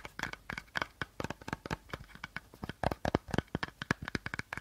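Short nails scratch and tap along the body of an empty, hollow clear plastic bottle with a teal cap, held sideways. A quick, uneven run of dry crinkly taps and scratchy rasps follows, each one short and crisp with a hollow plastic ring and no lingering tail.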